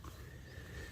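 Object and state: Nothing is struck.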